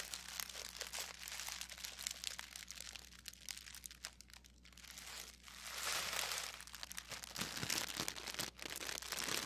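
A loose wad of thin pink tissue paper is held in both hands, crumpled and squeezed with the fingers. It makes dense, bright crinkling and crackling that runs throughout, with a faint steady low hum underneath. The crinkling swells louder from about the middle of the clip to the end.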